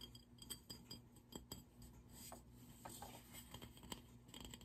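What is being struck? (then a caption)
Small ceramic flower vase. A small, hollow, grey-and-white matte ceramic vase holding dried flowers is held in both hands and tapped and scratched around its body with fingertips and short nails. Quiet, dry, bright clicks and taps with almost no ring mix with soft scratching over a steady low hum.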